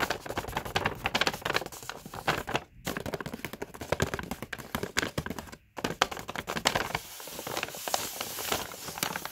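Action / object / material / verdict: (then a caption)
scrape / kraft paper carrier bag / paper / none. A Body Shop kraft paper carrier bag lies on a carpet while a flat hand and nails press, rub and crinkle its paper surface. Dense, bright crackling and crinkling runs through the clip with quick scratchy bursts, broken by two brief silences near 2.7 and 5.7 seconds.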